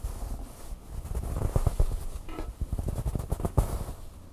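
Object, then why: Stuffed plush toy, fabric. Long fingernails scratch the soft fabric on the back of a red plush bird toy. The result is a low, muffled, rumbling rustle of irregular, quick scrapes that rise and fall in loudness, with very little brightness.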